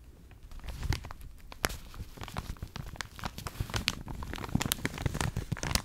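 A full, medium-sized clear plastic resealable bag holding a stack of cotton rounds behind a printed paper label is gripped, scratched and crinkled by long acrylic nails. The result is a steady run of dry crackling and crinkling with sharp scratchy snaps, over a soft low rustle.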